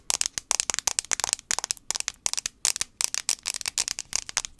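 Fingernails tap quickly on the plastic back of an iPhone 5c, producing about 25 sharp, bright clicks in irregular bursts. Each tap is dry and short with no ring or low end, giving a crisp, crackling patter.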